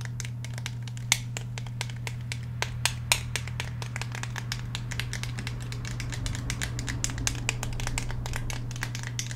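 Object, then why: Polymer and steel handgun. A black Glock 17 handgun with a polymer frame and steel slide is held upright in both hands while fingernails rapidly tap and scratch along the grip and slide. Dense, sharp, bright clicks and scrapes ride over a steady low hum, with a few taps standing out louder than the rest.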